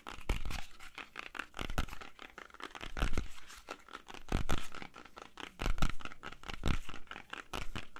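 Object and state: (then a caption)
Apple. Fingernails scratch and tap the skin of a whole, solid red-yellow apple held in both hands. Irregular, closely spaced taps and crackly scratches come with soft low thumps and die away almost instantly, with no ringing.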